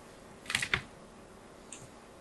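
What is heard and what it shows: A small blade cuts more lines into a solid white bar of soap held in the hand, its surface already covered in diagonal grooves. A quick cluster of crisp, bright scraping clicks is heard, followed by a couple of faint, short ticks against a quiet background.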